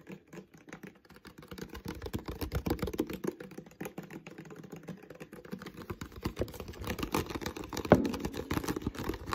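Fingertips of both hands rapidly tap and scratch the thin, crinkly plastic of an empty, hollow clear PET water bottle, mostly around its ribbed bottom. The result is a quiet, dense stream of soft, dry, hollow-sounding taps with very short decay, gradually growing busier, with one sharper crackle near the end.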